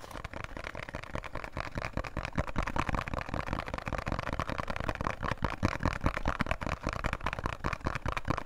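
A small, closed, thin printed cardboard box of Khadi soap is held in both hands and tapped quickly with fingertips and nails. The result is a steady stream of fast, uneven, dull taps with a hollow, low body and short papery clicks that die away instantly.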